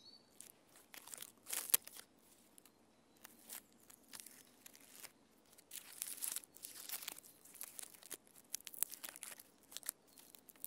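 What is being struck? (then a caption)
Rough bark of a standing tree trunk. Long nails scratch the rough bark of a standing tree trunk, producing quiet, dry, bright crackling and rasping bursts. The scratches come in short irregular clusters with brief pauses between them, and each one stops without ringing.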